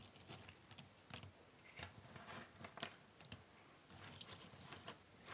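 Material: Cardboard.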